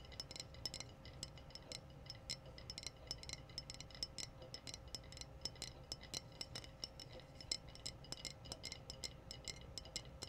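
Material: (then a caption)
Glass. Long blue-painted nails tap rapidly on the rounded body of a clear, hollow, apparently empty glass wine bottle with a metallic red screw cap, held up in the air. The taps are quick, bright clinks with a faint high ring that dies almost at once. They fall in an uneven, steady stream over a low, constant background hiss.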